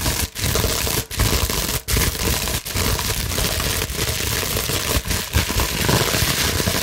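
A large clear plastic bubble wrap sheet is scratched and gripped with long nails and fingertips. The result is a steady, dense, bright crinkling scrape with a low rustling body, broken by a few brief pauses.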